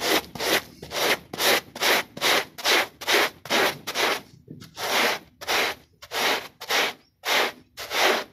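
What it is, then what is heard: Pile rug being brushed. A small, dirty, foamy foot-shaped textile pile rug, held flat by hand, is scrubbed with a plastic bristle brush in 19 quick back-and-forth strokes. Each stroke is a bright, hissing scratch with no low-end rumble, at a steady but slightly uneven rhythm.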